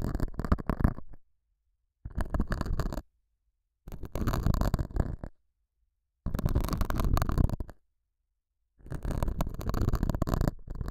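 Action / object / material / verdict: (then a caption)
scrape / felt pad scratched with a metal hook / felt / none. A metal dental scaler hook scratches the surface of a small, solid, square beige felt pad mounted over a small lavalier mic. It makes five bursts of close, dense, crackly scratching separated by silent pauses. The sound is heavy in low, rumbling tones.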